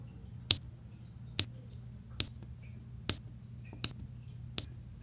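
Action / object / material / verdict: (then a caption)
tap / resin drills on a diamond painting canvas / resin / none. A pink plastic drill pen taps small solid resin drills on a flat diamond painting canvas with a yellow section, while a white plastic roller tip presses across the rows with light scraping. Six short, bright, dry clicks sound at uneven intervals, each dying away almost at once. A steady low hum runs underneath throughout.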